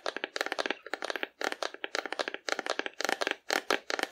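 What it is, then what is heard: Hollow cardboard figure. Long nails tap rapidly on a hollow painted cardboard dinosaur held horizontally. The result is quick bursts of dry, crisp clicks in short clusters with brief pauses between them. The taps have a papery midrange body, no low end, and almost no ring.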